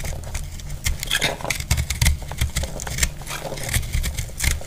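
A metal blade cuts through a solid, dry, blue-purple marbled piece of soap, making a string of scraping, crackling strokes. Each cut has a low, dull body and bright, brittle crunch bursts, with short dry decays between irregular strokes.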